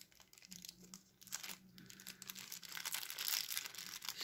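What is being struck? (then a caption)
Small thin plastic packaging bag. A small, clear, thin plastic packaging bag holding a small black accessory is torn open, crinkled and crumpled with the fingertips at close range. It makes a dense run of bright, crackly rustles and snaps that get louder over the clip, with a faint low hum underneath.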